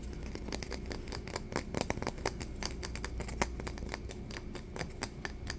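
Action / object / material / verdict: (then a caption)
tap / flat thin wooden stick / wood / none. A long, flat, thin, solid wooden stick, like a ruler or paint stirrer, is held in both hands and tapped and scratched with fingertips and nails. Quick, dry clicks and bright scratches come in a rapid, uneven stream with almost no ring. A steady low hum sits underneath.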